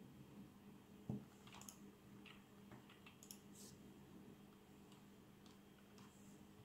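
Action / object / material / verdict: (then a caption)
tap / plastic membrane keyboard being typed on / plastic / none. Fingertips type on the keys of a black plastic membrane keyboard with RGB backlight, producing soft, muffled, squishy key presses with brief bright clicks. One sharper thump stands out early, and a steady low hum sits under the quiet tapping throughout.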